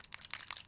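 A 30 ml plastic bottle of dark chocolate mint e-liquid is shaken, and the 70 PG / 30 VG liquid sloshes inside as thin as water, like a sports drink. Quick bright splashing bursts repeat through the clip. The juice is unusually thin for an e-liquid.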